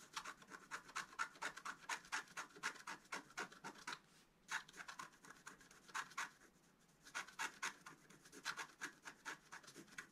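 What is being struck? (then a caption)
Coated scratch art paper sheet scratched with a wooden stylus. A pointed wooden stylus scratches a flat, thin A4-size scratch art sheet, its black coating over a colored foil layer, taped to a table while the other hand holds it flat and a small lifted paper piece sits near the top. Dozens of quick, dry scraping strokes, bright with a rasp centered near 1.4 kHz, come in rapid bursts. Short quiet pauses fall around 4 seconds and 7 seconds.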